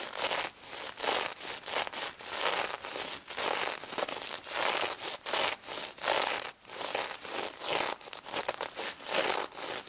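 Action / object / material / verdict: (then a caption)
scrape / plush toy covered in plastic sequins / plastic sequins / none. Long red nails scratch and rub the plastic sequins on a pink stuffed plush pig toy, close up. Bursts of bright, hissy, crinkling scratches repeat in quick strokes with short gaps between them, with almost no low end.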